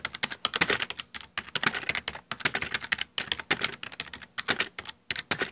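Bare fingertips type fast on a full-size black plastic Dell desktop keyboard with hollow keycaps. Quick, bright, clicky taps come in dense bursts separated by brief pauses, with almost no low end and each click dying away instantly.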